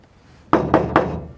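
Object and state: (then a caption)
Car roof panel damped with sound deadening mat, sounds solid. Three knocks on a classic Chevy's sheet metal roof panel, fully covered with 15 sheets of Kill Mat sound-deadening mat, give short, dull thunks that die away quickly. The treated roof sounds solid and good, more solid than it did before the deadener went on.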